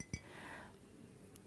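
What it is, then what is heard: Ceramic object tapped with fingernails. Short fingernails tap a ceramic object three times, each producing a brief, quiet clink that dies away almost instantly. A soft, low background sound fills the gaps between the taps.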